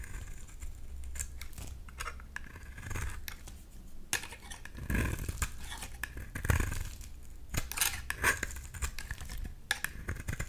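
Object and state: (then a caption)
Bar soap being shaved with a knife. A hand-sized solid white bar of soap, held in one hand, is carved by a black-bladed knife with a white handle over a bowl of soap shavings. The blade scrapes and shaves off crumbly chips in a steady run of short, dry scratching strokes with bright crackly bursts over a low, muffled rumble.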